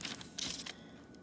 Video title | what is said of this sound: How to Harvest California Poppy Seeds | You can hear it kind of snap a little.